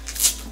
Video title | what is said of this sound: How I Pack My Shopify Orders - How To Protect Your Candles During Shipment | shake it for you to hear that it's not even moving